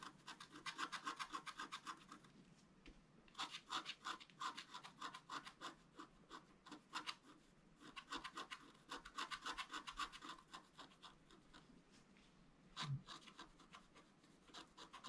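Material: Coated paper.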